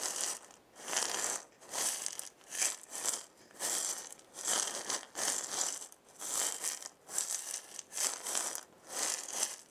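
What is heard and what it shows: A hand-sized round wooden maraca with a wooden handle and a burned zigzag pattern, hollow with filling inside, is shaken by hand. Its filling gives soft, bright, hissing rattles in repeated swells that rise and fade with brief near-silent gaps between them. The sound is almost all high and has no low end.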